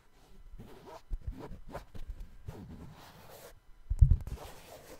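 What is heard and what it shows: Fingertips tap the upper and heel area of a hollow, empty brown suede sneaker held close, giving soft, dull, low thuds with light scratchy brushing between them. The taps are quiet and muffled, with a louder cluster of thumps near the end.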